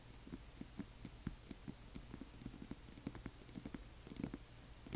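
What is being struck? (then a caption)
Small amber glass dropper bottle. Long nails from both hands tap the sides of a small amber glass serum bottle, which appears filled and has a white dropper cap and a label, as it stands on black cloth. Quiet, quick, irregular clicks each give a brief, bright glassy ping with a soft low thump, speeding into a dense cluster near the end.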